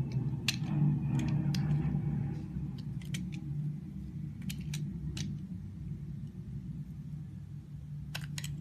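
A green utility knife blade scrapes and shaves thin layers off the surface of a hand-sized, solid, translucent lime-green glycerin soap bar held in the palm. Short, bright scraping ticks come at an irregular pace over a steady low rumble, each fading almost at once.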